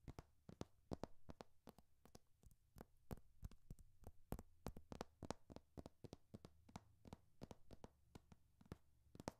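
Painted nails scratch and tap along the hardcover top and paper page edges of a thick hardcover textbook held horizontally. Around forty short, crisp clicks come in an uneven rhythm, each dying away almost at once. A low, steady hum runs underneath at a quiet overall level.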